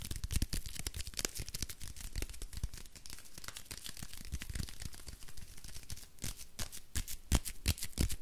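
Fingertips and nails scratch and tap the floral-printed paper wrapper of a small, solid soap bar, crinkling the paper. A rapid, uneven stream of dry scratches and crisp crackles runs throughout, with sharper, louder taps toward the end, each click stopping dead with no ring.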